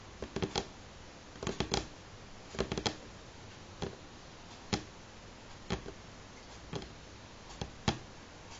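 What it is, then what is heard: Pine tabletop tapped with fingernails. Fingernails on both hands tap a solid light pine wooden tabletop, producing about sixteen short, dry clicks that come in quick clusters and single taps. Each tap is bright and crisp with a faint low knock and dies away almost at once into near silence.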